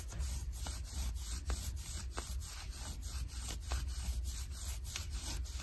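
Long nails and fingertips scratch and rub the fabric of light blue ripped denim jeans worn on the leg, over the shin. Repeated bright, raspy scraping strokes sweep over a steady low rumble, producing a continuous scratchy rubbing texture.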